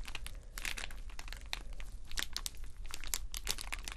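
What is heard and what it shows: Short fingernails scratch and tap a clear plastic rhinestone sticker sheet covered in rows of small acrylic rhinestones. Quick, bright crinkly scratches and clicky taps come in dense bursts over a steady low background hum.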